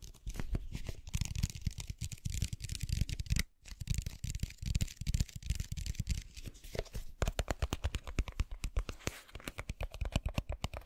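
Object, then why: Plastic bottle filled with water beads. Fingernails scratch and tap the sides and white cap of a clear plastic bottle full of blue water beads. The result is a dense, rapid run of dull, low, crinkly scratching with a brief pause near the middle. Sharper, more separate taps follow in the second half.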